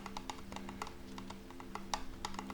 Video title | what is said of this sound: ASMR Reiki for Centering and Grounding in 2021/Soft Spoken Healing Session with a Reiki Master | gentle tapping on wood i find it very relaxing and comforting it sounds to me like rain